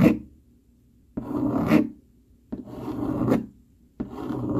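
A dark plastic fork is dragged quickly over a flat brown cardboard sheet, its tines scratching across the surface. Four rasping, filing-like strokes are heard, the first cut off at the start, each a rough, mid-pitched scrape with short silent gaps between.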